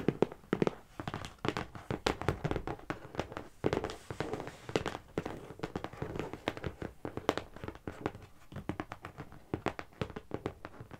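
A medium, closed, hollow brown corrugated cardboard shipping box is tapped rapidly on its top with the long nails and fingertips of both hands. The result is a dense, continuous run of short, dry taps and clicks with a hollow, boxy body around 400 Hz and almost no ring after each hit.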